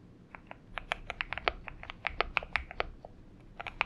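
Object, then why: Mechanical keyboard with PBT plastic keycaps. Both hands type steadily with their fingertips on a compact 70% Xinmeng M71 mechanical keyboard. It has an aluminium case, lubed switches, a tape mod and purple gradient PBT plastic keycaps, and sits on a desk mat. Rapid, short, bright clacks and taps come in an uneven rhythm, each dying away almost at once, over a faint low background hum.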